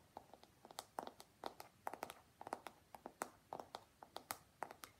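Fingertips and nails tap and scratch along the smooth back of a long pink plastic paddle hairbrush with black bristles and a hollow body. About 25 quick, dry, clicky taps with a hollow midrange tone around 780 Hz and bright scratchy edges, each dying away almost instantly. The taps come at an irregular pace in quiet, close surroundings.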